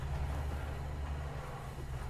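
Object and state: Nothing is struck.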